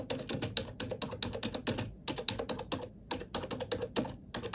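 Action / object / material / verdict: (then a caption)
tap / plastic computer keyboard / plastic / none. A black plastic computer keyboard is typed on with fingertips and nails in a quick, uneven run of sharp, bright clicks that stop dead with almost no ring. A short pause around the middle breaks the flow before the tapping resumes.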